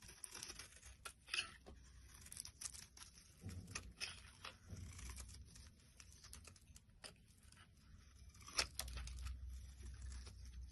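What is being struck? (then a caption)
Soap bar. A solid rectangular yellow soap bar held in the hand is scraped into long shavings with a black blade edge, either a card or a knife. Quiet, dry scraping and crinkly tearing strokes come one after another, bright and hissy on top with a soft low rumble underneath. A couple of sharper, louder strokes stand out near the start and again toward the end.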